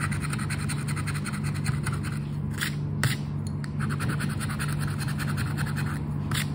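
A red and gold token's edge scrapes the coating off a flat paper "10 para ganhar" lottery scratch card held down by the fingers. Quick, rhythmic scratching strokes run steadily throughout, with a few brighter, harsher scrapes standing out over a constant low hum.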